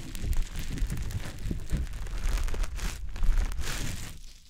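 A small, soft, damp green teardrop-shaped konjac sponge puff is held in fingers and rubbed over the silicone ear of a dummy-head microphone. The sound is a continuous low, muffled squishing and rubbing with faint crinkly texture on top, and it fades out at the end.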